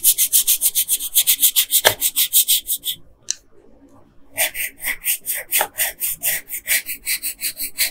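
A yellow colored pencil, held by a hand with long pink nails, is rubbed back and forth across a flat paper coloring page. It makes quick, bright, scratchy strokes in steady rhythm, pauses briefly around the middle with a faint tap, then resumes the same rapid scratching.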